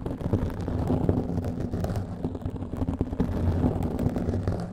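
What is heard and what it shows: Long nails rapidly scratch a black foam microphone windscreen, producing a dense, continuous rustling crackle with a deep, rumbling low end. The texture stays steady throughout, with many small scratches blurring into one another and no clear pauses.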